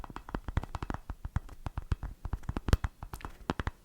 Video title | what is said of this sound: Roleplay ASMR: RILASSATI con FORBICI, TAPPING e BRUSHING! 🤤 | è un tapping abbastanza particolare perché ha qualche richiamo stranamente metallico come nota di fondo